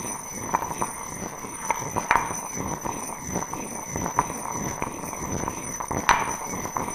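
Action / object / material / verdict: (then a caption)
knock / granite mortar with stone pestle / granite / none. A stone pestle knocks and grinds inside an empty, heavy, solid grey granite mortar held in one hand. Sharp stony clacks with a short ring near 970 Hz stand out over a continuous gritty scraping, and faint steady high tones run underneath throughout.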